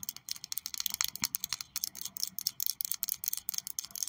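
Long purple acrylic nails tap and scratch along the barrel of a slim, small, hollow pink and light-blue plastic pen with a bow and a charm on top, held upright in both hands. A rapid, uneven run of about two dozen dry, bright clicks and scrapes follows, each one stopping instantly with no low end and no ring.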